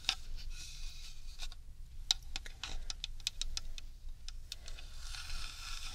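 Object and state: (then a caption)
Decorated bamboo tube. A tall, hollow decorated bamboo or wooden tube with metallic sun and moon relief ornaments is held in the hands and tapped with long red nails on both the wood and the metal decorations. The result is a scattered series of sharp, bright, dry clicks and taps that die away almost instantly, over a faint low rumble.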